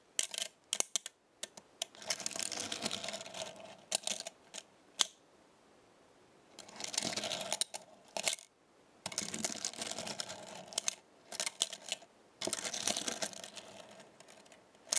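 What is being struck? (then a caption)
Small thin metal star pieces on a magnetic base. Small, thin metal star pieces on a black star-shaped magnetic base are pulled up and let snap back with fingertips and nails. This makes light, bright metallic clinking: sharp single snaps alternate with dense, rattling bursts of rapid clicks. Quiet pauses separate the bursts.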